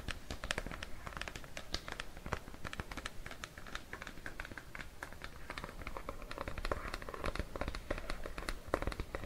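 Nails and fingertips of bare hands tap and scratch the flat blue plastic lid and side of a Cetaphil plastic cream tub, held beside a mannequin head. Many quick, dry clicks and scrapes follow one another closely with almost no ring, over a low rumble and soft, bright scratching.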